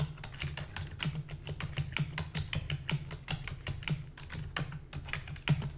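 Rapid typing with long fingernails and fingertips on a full-size black plastic keyboard with a hollow body produces a quick, uneven stream of sharp, bright clicks. Each keystroke dies away almost instantly, over a steady low hum.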